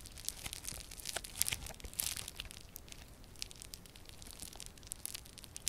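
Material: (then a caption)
Foam beads. Yellow crunchy foam-bead slime is squished, folded and pressed between both hands, giving a steady stream of bright, dense crunches and crackles with sharp pops at moments. The sound is soft overall and mostly high-pitched, with little low end.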